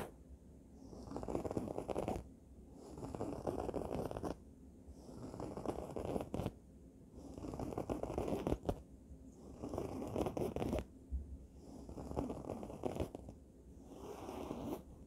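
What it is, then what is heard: Fabric throw pillow. Long nails scratch across a soft, stuffed red fabric throw pillow with printed lettering. The result is a repeated series of rough, rustling scratch strokes that swell and fade in bursts roughly every two seconds, with short quiet gaps between them.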